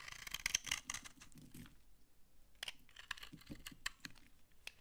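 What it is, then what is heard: Dry laundry soap bar being scraped. A utility knife scrapes crumbly shavings off a solid, dry brown laundry soap bar held in the hand. Dry, crunchy, brittle scraping comes in quick bright bursts, with a short pause in the middle before a second run of scrapes.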